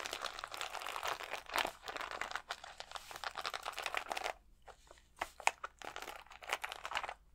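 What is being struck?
Plastic sheet of acrylic rhinestones.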